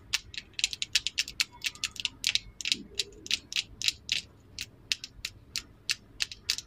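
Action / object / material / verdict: tap / wooden lip liner pencil / wood / none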